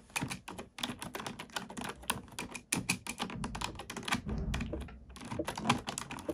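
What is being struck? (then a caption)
Plastic computer keyboard. A black plastic computer keyboard is typed on with both hands, using fingertips and nails. Rapid, uneven bursts of sharp, bright key clicks ride over soft, low thuds as the keys bottom out, with a brief pause just before the typing resumes.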